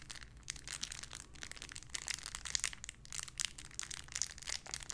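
A small clear plastic bag holding a pink paw squishy toy is firmly squeezed and crinkled with the fingertips. The result is a steady, quiet stream of dense, bright crackles and crinkles, with sharper snaps scattered throughout over a faint low hum.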